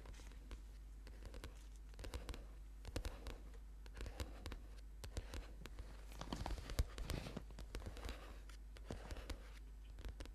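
Short-nailed fingertips of both hands tap and scratch the glossy, colourful card cover of a thick paperback book, a solid stack of paper lying flat on a purple yoga mat. Quick, dry taps and soft scratching strokes come in uneven bursts, building to a busier patch in the middle. A steady low hum runs underneath throughout.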